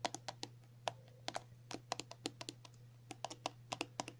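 A filled 50 ml pink and white soft plastic cream tube lying on a table is tapped and scratched with long natural nails. About 21 short, crisp clicks come in an uneven rhythm, each dying away almost instantly with a bright edge. A low steady hum sits underneath.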